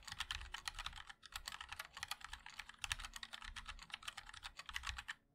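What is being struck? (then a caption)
Mechanical keyboard with plastic keycaps. Both hands' fingertips type continuously on a compact 60% mechanical keyboard with a black case, white and black plastic keycaps and linear switches. A dense run of short, bright clicky taps, with a brief pause near the one-second mark, forms a steady typing rhythm with a low thock under each keystroke.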